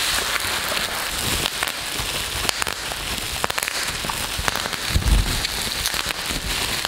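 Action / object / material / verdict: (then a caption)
scrape / plastic bubble wrap / plastic / none. A large sheet of thin, hollow-celled black plastic bubble wrap is crumpled, rubbed and squeezed between the fingers of both hands. A steady bright crackling hiss is broken by sharper pops. A deeper thump sounds around the five-second mark.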